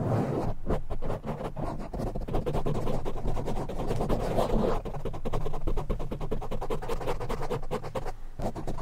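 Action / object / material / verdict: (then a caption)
scrape / foam microphone windscreen / foam / none. Both hands scratch very fast with fingertips and nails on a black foam windscreen covering a silver microphone. The result is a dense, continuous stream of rapid scratching and rubbing with a heavy, muffled low rumble and almost no bright content.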